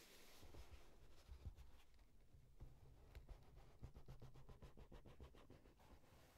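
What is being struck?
Corrugated cardboard box.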